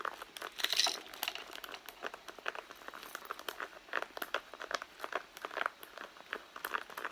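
Long blue nails scratch and tap the side panel of a hollow red pebbled-leather handbag resting on a mat. Dry, crinkly scrapes mix with quick, bright taps that die away almost at once, with no low end and a fairly quiet level overall.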